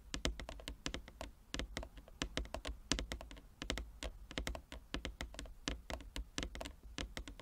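Both hands tap quickly on a large, flat wooden chess board with inlaid squares, using long nails and fingertips. Fast, irregular taps come as crisp, bright clicks with soft, dull knocks beneath, each dying away almost at once. A steady low hum runs underneath throughout.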